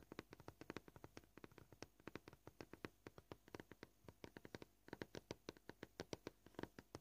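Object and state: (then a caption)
Plastic cutting board. Short painted fingernails tap a flat, scratched white plastic cutting board gently at a varied pace. About fifty quiet, dry clicks die away almost instantly, with a brief pause just before the five-second mark.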